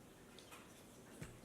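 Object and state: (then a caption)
Hollow-sounding, fully baked bread loaf. A finished whole wheat loaf, baked at 375 degrees, is knocked on, giving short, hollow, low knocks, with the last the loudest. The hollow sound shows the bread is ready.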